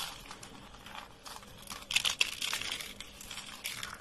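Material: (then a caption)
Soap. A thin, brittle, dry beige soap sheet is bent and crumbled in both hands over a pile of soap flakes. It gives a steady run of dry, bright crinkling and crunching, with a few sharper snaps in the middle.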